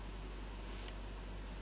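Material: Nothing is struck.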